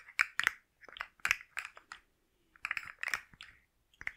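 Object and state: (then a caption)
Plastic articulated slug fidget toy. A hand-sized rainbow plastic slug fidget toy with hollow-jointed segments is held in one hand and tapped and scratched with long manicured nails close to the microphone. About a dozen dry, bright clicks and short scratchy scrapes come in quick clusters with brief pauses between them. The sound has no low end and no ringing after each tap.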